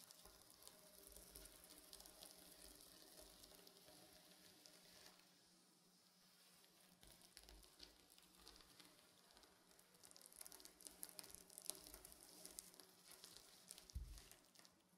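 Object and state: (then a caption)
Sequin fabric pillow being scratched. Fingernails and fingertips stroke and scratch lines into a soft, stuffed, reversible blue and silver sequin pillow, flipping the sequins to silver. The result is a quiet, steady, bright crackling rustle like a sizzle, with a brief lull around 5 to 6 seconds. The scratching then returns with sharper clicks and a louder burst near the end.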